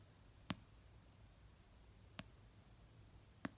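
Slow fingernail taps on the paper cover of an orange paperback novel resting on a blanket, three soft, dry clicks spaced well apart. Each tap is short with almost no ring and sits over a faint, low hum in otherwise quiet surroundings.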